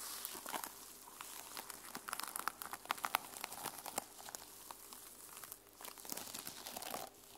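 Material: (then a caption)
Plastic sequins. Fingernails scratch and brush across the teal sequin cover of a small fabric journal held on a table. The result is a quiet, steady stream of dry, bright crinkling and scratching with many sharp little ticks and clicks.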